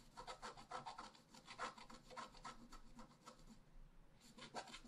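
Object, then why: Black-coated scratch-art paper card scratched with a wooden stylus. A pointed wooden stylus scratches densely across a flat, black-coated scratch-art paper card resting solidly on a table. Quick, dry, rasping strokes follow one another in bursts with a bright, papery hiss, then pause briefly before a final flurry of scratches.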